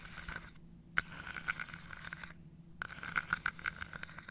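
Fingernails scratch and tap across the tops of small wooden dominoes standing on edge in an open carved wooden box held on a lap. The clip is a steady dry scraping broken by sharp, mid-pitched wooden clicks, with two brief near-silent pauses before the tapping picks up again.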